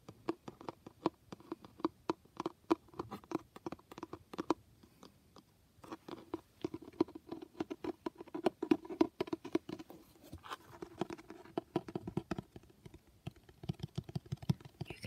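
Rapid, soft fingertip and nail taps on a cloth-bound hardcover give dull, short thuds around 300 Hz.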